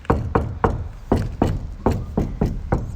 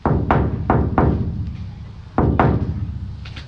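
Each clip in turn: First: Nine quick, dull taps on a steel van panel, each dying almost at once: the insulation has damped it. Second: Low booming knocks on bare sheet steel roll on for a second or more: an undamped van panel.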